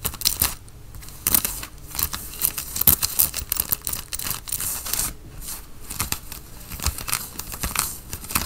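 Fingernails on both hands scratch the chest of a worn grey Nike cotton fleece sweatshirt. The result is dense, rough, bright scratching and rasping in uneven bursts, with short quiet gaps between strokes.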